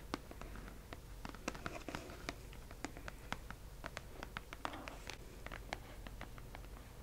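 Fingers tap on a delivered cardboard subscription box, giving many short, dry, crisp taps with quick decay over a low steady background hum. Soft scratchy brushing sounds fill the gaps between taps.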